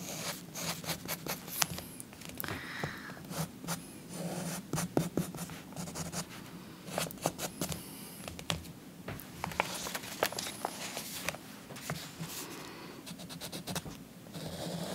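A purple chalk stick is scratched across a paper coloring book page, making dry, gritty strokes with frequent sharp, bright ticks over a steady low hum. The rasping comes in uneven bursts throughout, and by the end the page has been rotated.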